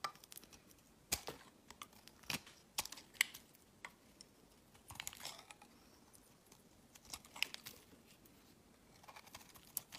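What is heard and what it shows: A solid, round, palm-sized tan bar of soap is held in the hand and shaved with a utility-knife blade, curling off thick shavings. The result is quiet, bright, crisp scraping and snapping, with scattered short ticks and crackles that die away almost instantly, and almost no low end.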